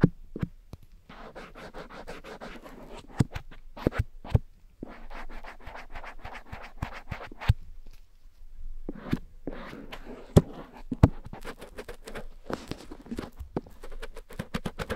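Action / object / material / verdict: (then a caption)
scrape / silicone ear of a dummy head microphone / silicone / none. A cotton swab scratches and rubs inside the ear canal of a grey silicone ear on a black dummy head microphone. The result is close, dry, crackling scratches over soft rubbing, with many sharp clicks along the way and brief pauses between strokes.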